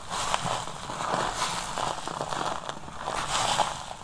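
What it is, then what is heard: Crumbled dry soap being crushed. Bare hands with short dark-painted nails squeeze, crush and press flat a pile of crumbled semi-dry yellow and pink soap on a grey tray, rubbing the solid crumbs under the palm with no container. A steady, dense crackling crunch fills the clip, with a gritty midrange texture, bright crisp edges and brief swells as the crumbs are pressed and ground.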